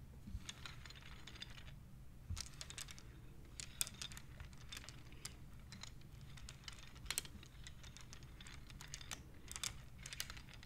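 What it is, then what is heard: Wooden abacus beads clicking. Fingertips and long nails slide the painted, colored wooden beads along the rods of a wooden abacus, so the beads click against each other. The result is short, bright, dry clicks in quick, irregular bursts over a steady low background hum.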